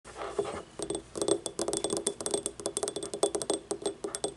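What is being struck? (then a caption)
Small glazed ceramic cup. Long painted nails tap and scratch quickly on an empty, small, hollow, yellow, ribbed, glazed ceramic paint cup standing upright on a wooden table, and at the end the cup is tipped over. Each tap gives a bright, crisp click over a short hollow ring centered near 400 Hz that dies away almost at once, with softer scratching between the taps.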